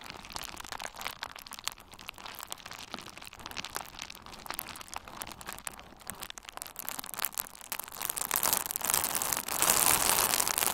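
A hand-sized bundle of pink/red plastic bubble wrap with hollow, air-filled bubbles is squeezed with the fingers and thumbs of both hands. It makes a dense stream of sharp crinkles and small pops. The sound grows louder and brighter over the last few seconds.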